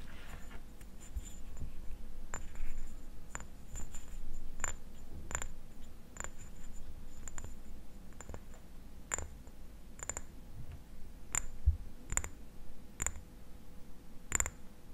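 A small amber (brown) glass dropper bottle with a paper label and dropper cap is held in the hands while fingernails scratch and tap the label and glass. Short, sharp clicking taps with a bright, high glassy tick ring out over a steady low rumble and soft scratching.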